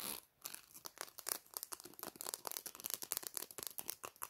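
Long black-painted nails scratch and flick along the fine teeth of a small, solid black plastic hair comb held in one hand. The result is a quiet, rapid run of crisp, bright clicks and crackly scrapes with almost no low end, each tick stopping dead.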